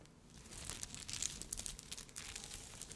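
Long red nails scratch and tap across a rhinestone-covered bikini cup with Swarovski glass crystals sewn onto the fabric. It makes a bright, crinkly rustle dotted with many quick, sharp clicks and ticks. The sound is quiet and close, with very little low end and almost no ring after each tap.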